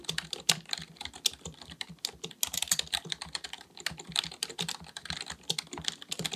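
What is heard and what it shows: Fingertips of both hands type rapidly on a black full-size plastic computer keyboard resting on a desk. The result is a steady stream of quick, dry, bright key clicks with almost no low end, each tap dying away almost instantly.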